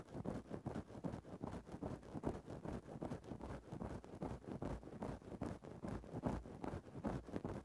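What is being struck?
Synthetic-fur microphone windscreen scratched with a thin stick.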